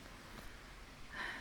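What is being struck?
Nothing is struck.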